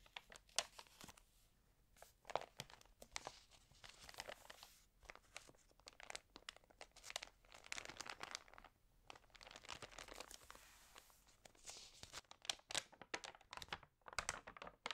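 Fingertips with long green-painted nails rub, crinkle and turn the water-damaged pages of an open glossy-paper home-decor magazine lying flat. The result is a dense run of crisp, bright crackles and papery rustles with sharp, quickly fading snaps and almost no low end.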